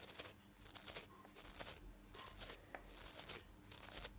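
Fingertips and nails brush and flick across the white, yellow and blue nylon bristles of a manual toothbrush with a plastic handle, held in one hand. Quiet, bright, scratchy rustling comes in quick repeated bursts, each fading almost at once, with faint low hum between them.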